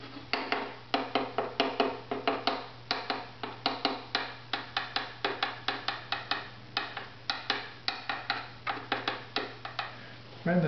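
A maple bridge on a strung, hollow wooden violin held upright is tapped repeatedly with a thin tool held in the fingers to tune its tap tone. About 38 short, dry, woody knocks, each with a brief pitched ring near 410 Hz, sound over a steady low hum. A louder burst of noise comes at the very end.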